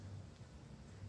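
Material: Nothing is struck.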